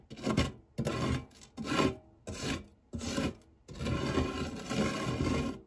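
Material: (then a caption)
Metal. A silicone spatula rubs and scrapes across the dark, textured nonstick base of a shallow, round, fluted metal tart tin that is empty apart from crumbs. A series of short, raspy scraping strokes with brief pauses leads into a longer continuous scrape, with a soft, gritty texture and a bright hiss on top.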